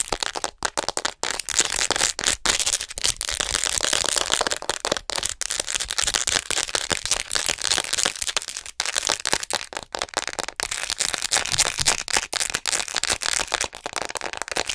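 Long acrylic nails tap and scratch quickly and aggressively on the back of a hollow white plastic acupuncture model doll. The result is a dense stream of sharp, bright clicks and scrapes with almost no low end. Each tap cuts off almost instantly.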